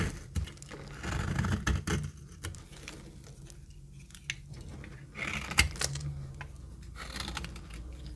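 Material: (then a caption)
Soap. A metal knife cuts and scrapes dry flakes off a solid, rectangular, very dry retro orange soap bar held in the palm. Quick, irregular dry scrapes and crisp crackles are heard with sharp bright clicks over a low rumble.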